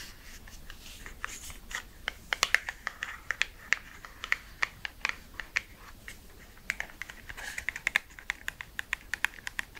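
Long red nails rapidly tap a small, hollow, red printed cardboard lipstick box held in the hands, producing dozens of quick, bright, dry clicks with almost no ring. The taps come in two flurries, from about 2 to 5.5 seconds and 6.5 to 9.5 seconds, over a faint scratchy rustle.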